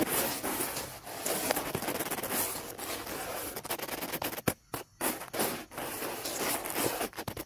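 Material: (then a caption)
Wood. Two round dark bristle brushes scrub and tap rapidly along the bark-less top of a large, dry, cracked, weathered fallen wooden log lying on grass. The result is a dense, bright, continuous scratching and scrubbing noise with quick tapping bursts and a few brief pauses near the end.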